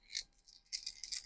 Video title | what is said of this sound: DOUBLE UNBOXING! March’s sack and some Personal pick ups from @6thsensefishing | Does have some rattles in it.